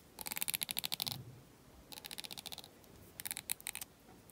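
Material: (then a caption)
Plastic. Fingernails flick and scratch along the teeth of a thin, solid black carbon plastic comb fresh from its packaging. Three bursts of rapid, bright ticking rattle out, separated by short quiet pauses. Each tick is crisp and dry, with almost no low end.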